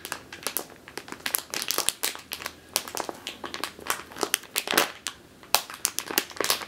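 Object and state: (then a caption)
Plastic bag of flour. Long teal nails squeeze a medium clear plastic bag with a purple label, full of flour or grain and turned on its side. The result is a rapid run of short, bright plastic crinkles and crackles, with dense crisp bursts and quick pauses between squeezes.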